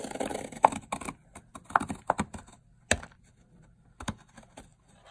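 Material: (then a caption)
Soap. A metal blade scrapes and shaves layered flakes off a long, solid bar of dry teal soap. The result is a series of short, dry, crisp crunches and scratchy scrapes with uneven spacing and a few sharper snaps. Each sound stops quickly, with quiet gaps between the cuts.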